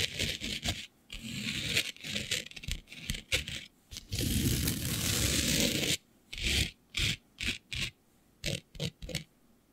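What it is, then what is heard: Glitter-covered fabric. Long nails scratch and rub a flat sheet of black fabric covered in fine green glitter, making dry, bright, rasping scrapes. The clip opens with quick, uneven scratching bursts and a steady two-second rub. It ends with seven short, separate strokes with silence between them.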